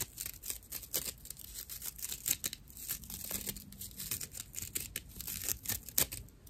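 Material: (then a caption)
Plant fibre. A dry natural loofah pad, a fibrous plant material, is scratched with the long nails of both hands. The result is a continuous stream of quick, rough, bright scratching and crackling strokes with sharp bursts, while a faint low tone briefly sits underneath in the middle.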